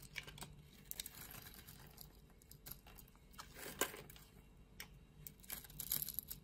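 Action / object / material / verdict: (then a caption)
scrape / scored bar of soap / soap / none. Scored pieces of a solid, opaque purple soap bar are crumbled off by fingers and a blade, with flakes falling. The result is a quiet run of dry, bright crackles and sharp clicks over a soft rustling bed, with a denser crumbling burst near the middle and again at the end.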